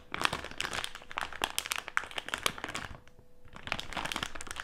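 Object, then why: Filled plastic candy bag. Fingertips and nails crinkle, press and scratch across a filled plastic jelly candy bag lying flat on a table. Dense, bright crackling and crinkling runs throughout, dips into a quieter, softer stretch around the three-second mark, then picks back up.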